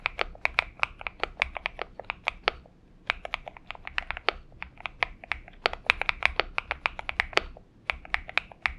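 Fingertip typing with both hands on a purple Xinmeng M71 mechanical keyboard with PBT keycaps, heard as a rapid, uneven stream of short, bright clicks and clacks. Each keystroke dies away almost at once, with brief pauses near 2.8 and 8.2 seconds before the typing resumes.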